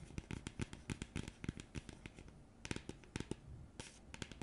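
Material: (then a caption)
Cardboard. Long nails tap and scratch the face of a round printed cardboard coaster. Quick, irregular dry ticks and scratches come in bursts, each a sharp bright click with a soft low thud beneath it, all at a quiet level with almost no ring.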